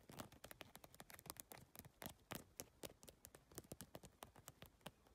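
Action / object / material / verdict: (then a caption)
tap / PVC-tile handbag / plastic / none. Long nails tap quickly and scratch across the plastic tiles on the surface and edge of a holographic geometric PVC-tile handbag. The result is a fast, irregular stream of sharp, dry, bright clicks with almost no ring, mixed with soft scratchy rustling between the taps.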